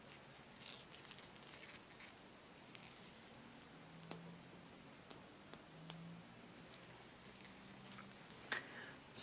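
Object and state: Rubber hockey puck.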